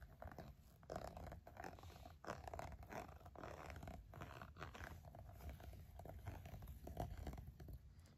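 A red pen tip scratches and taps across the smooth, dotted surface of a green silicone glove. The result is a steady run of soft, muffled scraping and quick dull taps, mostly low and rubbery with little brightness.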